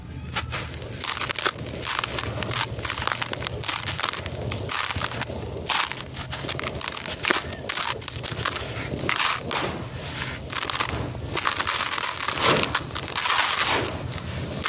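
Hands press dry, black crushed concrete grit into clumps in a plastic tub, crush them, and rake through the pile. The result is a steady stream of dense, bright, gritty crunches and crackles with a faint low hum underneath.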